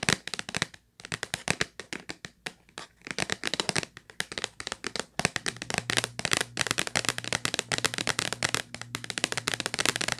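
Long nails tap rapidly on the top face of a hollow purple Kleenex cardboard tissue box, producing a dense stream of sharp, dry, bright clicks with almost no ring. The taps come in quick bursts with brief pauses, and a steady low hum joins in about halfway through.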